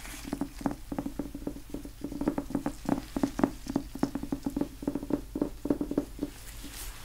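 Gloved fingertips in blue nitrile gloves tap and scratch the cover of a small, solid, old yellow cloth-covered hardcover book, "History of Richard the Third," while it is held, tilted and turned. About 29 quick, soft, dull taps sit around 270 Hz, mixed with faint scratching. Each tap dies away almost instantly, with little high brightness.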